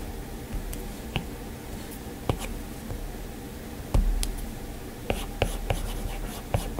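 A plastic-tipped Apple Pencil strokes and taps across the flat glass touchscreen of an iPad, with an occasional fingertip touch. Nine short, sharp ticks stand out over a soft, low, steady rumble and faint scratchy strokes, each click dying away quickly.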